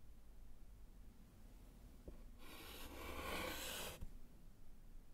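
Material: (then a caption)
Slate. A gloved hand writes the word GHOST in white chalk on a small, flat, solid wood-framed slate chalkboard. Over a low, quiet background rumble, a faint tap is followed by about one and a half seconds of bright, broadband chalk scratching across the slate. It ends with a soft knock as the chalk lifts away.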